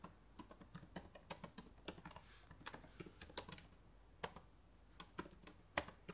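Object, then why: Plastic laptop keyboard keys. Fingertips and long nails type on the plastic keys of a black laptop keyboard. The result is a quiet, irregular run of short, sharp, bright clicks, with a few louder taps toward the end.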